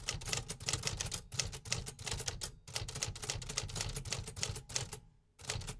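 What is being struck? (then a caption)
Metal manual typewriter. Fingertips type on the round keys of a vintage 1950s metal typewriter with paper loaded, producing a rapid run of bright mechanical clacks over a steady low rumble. The typing pauses briefly near the end, then resumes.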